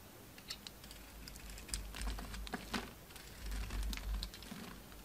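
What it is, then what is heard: Soap bar being scraped. A utility knife blade scrapes a solid orange oval soap bar held in the hand, shaving off chunky pieces. Quick, irregular crisp scratches and clicks ring out over a low rumble, with brief bright transients at about 200 per minute.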